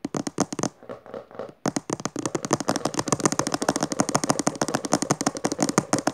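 Long dark nails on both hands, then one hand, scratch and tap quickly across the textured maroon cover of a closed, solid hardcover book resting on purple fabric. Sharp, dry clicks come fast with bright edges, pause briefly into softer scratching, then resume as a dense, steady stream of taps.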